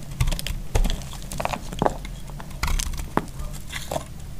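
A faceted, solid, dry purple soap bar held in the hand is scraped with a utility knife. It makes a run of short, dry scraping and clicking strokes with brief crackly bright edges over a low rumble, and each one stops almost instantly.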